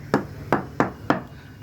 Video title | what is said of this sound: Silverton 36 Hull Inspection & Antifouling - Hong Kong Boat Maintenance Guide | Solid. You can hear the solid thing.